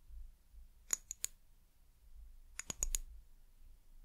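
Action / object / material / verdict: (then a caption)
tap / small glass bottle / glass / none. Long nails tap the sides of a small amber glass bottle with a white plastic cap. Seven sharp, bright clicks with a high glassy ping come in two quick bursts, three and then four, and each dies away almost at once over a faint low rumble.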